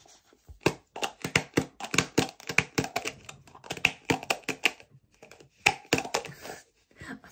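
A hand-sized metal aerosol shaving cream can with a blue label and an orange plastic lid is held in one hand while fingernails rapidly tap and click on the lid. The result is a fast run of short, dry, bright clicks, much like typing on a keyboard, with uneven spacing and a brief pause near the middle.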